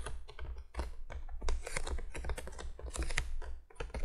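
Long fingernails on both hands tap rapidly across the top of a printed cardboard box lying flat. The result is a quick, uneven run of dry, clicky taps, like fast typing, over a steady low hum.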